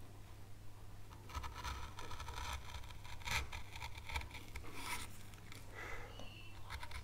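A fine veiner tool scrapes detail grooves into an oak leaf carved on a light wood carving board, a small solid pale wood panel. Short, dry scratching strokes come in irregular bursts with bright, airy edges. A steady low hum sits underneath throughout.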